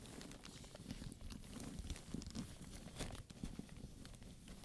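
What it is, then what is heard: Studded leather handbag. A hand rubs and taps the studs and leather of a hollow black studded leather purse with buckles and straps, while a wooden pointer comes into view. The result is a quiet, steady, low-weighted scratching and crinkling with soft, short taps scattered throughout and little ring after each.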